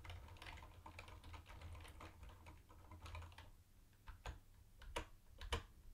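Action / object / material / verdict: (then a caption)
tap / plastic keyboard with round plastic keycaps / plastic / none. Fingertips type with both hands on a mint-green plastic retro keyboard with round white plastic keycaps, making a dense, irregular patter of short, crisp plastic clicks over a low, steady hum. After about three and a half seconds the typing thins to a few louder, sharper clacks as the hands lift off at the end.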